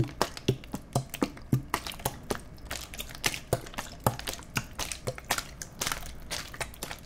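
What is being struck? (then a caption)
Thin plastic water bottle. A clear, empty, thin-walled plastic water bottle with its cap on is held in both hands near the microphones and squeezed and crinkled with the fingers. A steady run of sharp, dry crackles and pops comes through, each with a bright snap over a low, hollow thump, dying away almost at once between squeezes.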